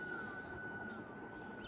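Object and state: Nothing is struck.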